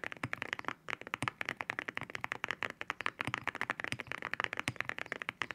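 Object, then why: Mechanical keyboard with ceramic keycaps. Both hands type with fingertip taps on a white 65% mechanical keyboard fitted with ceramic keycaps. About 33 quick, distinct keystrokes come out as crisp, clacky clicks with a bright tone centered near 1.8 kHz, and each one cuts off almost instantly.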